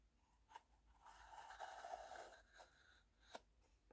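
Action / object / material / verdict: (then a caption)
tap / small wooden box with sliding lid / wood / none. Fingernails tap a small, hollow wooden tea box as its wooden sliding lid is pushed open and closed. Two sharp, woody taps frame a soft, rasping slide of the lid in the middle, all quiet with a hollow mid-range tone.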